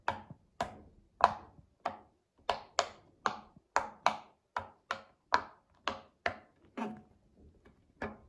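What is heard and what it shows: A child presses the hollow bubbles of a round pink silicone pop-it fidget toy with her fingertips, making 15 sharp, hollow pops at an uneven pace. Each pop is a quick snap with a mid-pitched tone around 1 kHz and a bright click on top, dying away almost at once into near silence between presses.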